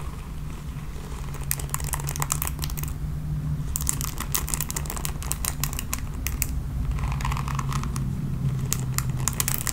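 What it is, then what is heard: Plastic paddle hairbrush bristles being raked. Long nails rake across the bristles of a red plastic paddle hairbrush, producing bursts of bright, crackling ticks and scratches in clusters. A steady low hum runs underneath throughout.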